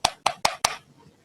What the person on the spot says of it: you can hear a different kind of sound